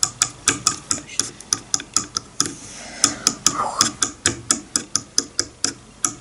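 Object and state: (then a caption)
Wooden comb. A wide-tooth wooden comb lying on a bamboo board has its teeth flicked with a fingernail, producing about 25 sharp, dry, bright clicks that die away almost instantly. The ticking comes in a fairly steady rhythm, with a brief softer, hissier stretch in the middle before the clicks resume.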